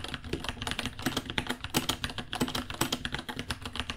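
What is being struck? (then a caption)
Plastic mechanical keyboard. Fingertips type quickly on a white 66-key mechanical keyboard, about 30 cm long, with Gateron Brown switches, plastic keycaps and a hollow case. The result is a dense, steady stream of short, crisp clacks with a hollow low thock under bright click tops, each keystroke dying away almost instantly.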